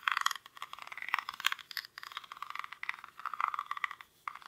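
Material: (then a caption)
Rattan. Fingernails scratch the weave of a small, hollow woven rattan or reed basket held in both hands. The result is a dry, crackly scraping in uneven bursts, bright and mid-pitched with no low end, and each burst stops almost instantly.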